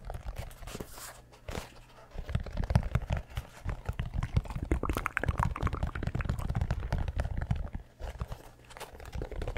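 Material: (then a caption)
Mesh, rubber. Fingertips tap and scratch the heel and mesh upper of an orange and grey mesh-and-rubber running shoe held close to the mic. The result is a dense run of short, dry, crunchy taps and crinkly scratches, heavy in low thuds with little brightness and quiet pauses between bursts.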